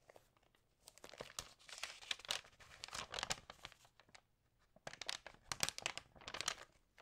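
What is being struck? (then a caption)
Glossy paper magazine pages. Hands rub and flip the glossy pages of an Allerhande paper magazine, making bright, crisp crinkling and rustling. The sound comes in two busy stretches of quick, dry crackles separated by a brief near-silent pause, with very little low end.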